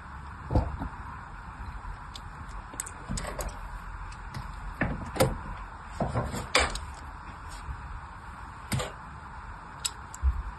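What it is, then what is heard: Bar of soap being scored with a blade. The fine tip of a small craft blade scores thin lines into the surface of a solid pink bar of soap held in the hand. Short, soft scratchy clicks and scrapes come at irregular intervals over a steady low hiss, each dying away quickly.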